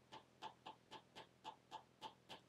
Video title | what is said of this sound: 2018 Apple iPad (6th Gen) Review | because this isn't laminated glass there is an air gap in there so that means more noise you can hear it even when you tap on the screen